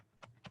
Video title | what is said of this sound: Kids Club Online: 10 Ways to Play with Flowtonia - Michaels | you hear that there's stuff inside barely it's because the walls are so thick